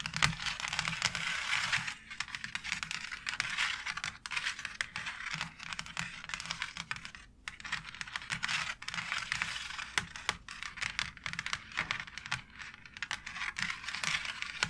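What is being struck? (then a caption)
Embossed plastic faux brick wall panel. Long nails rapidly tap across a white embossed plastic faux brick wall panel. The result is dense, bright, dry clicking with a scratchy texture and very little ring, easing briefly around the middle before picking up again.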